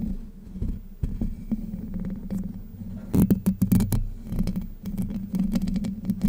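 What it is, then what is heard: Metal mesh microphone grille being scratched. Long white nails scratch the hollow domed steel mesh grille of a Blue Yeti microphone. The result is a dense, low, rumbling scrape with a steady hum around 100 to 200 Hz, broken by louder crackling bursts that turn bright and sharp around the middle and again near the end.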